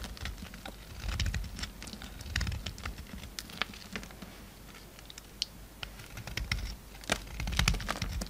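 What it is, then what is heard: Bar of soap being shaved. A utility knife blade shaves a pink solid bar of soap, breaking off chunks and curls. The cutting makes a steady run of dry, crisp scraping clicks and crackles with sharp bright snaps, over a soft low rumble that swells in places.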